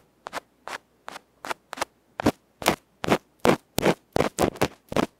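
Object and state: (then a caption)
Metal microphone capsule being scraped. A small hollow aluminium electret microphone capsule with a black felt face, held in the fingertips, is scratched by a bamboo ear pick. Sixteen short, harsh, bright scraping strokes come at an uneven pace, each a brief crackly burst separated by near silence. The strokes grow louder and more forceful as the clip goes on.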